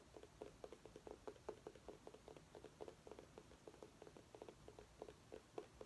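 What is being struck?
Small pumpkin.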